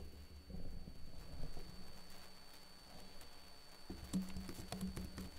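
Fingertips with short blue-painted nails type continuously on a backlit laptop keyboard with plastic keys. Soft, quiet tapping clicks run together over a steady low hum, with a few sharper, brighter taps toward the end.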